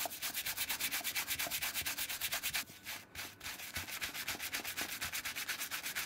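A dark brown leather clog-style shoe covered in soapy lather is scrubbed by hand with a wooden-handled horsehair brush, worked back and forth over the upper and strap. About 29 quick, bright, scratchy brush strokes follow in a steady rhythm, with a brief softer lull around the middle before the scrubbing resumes.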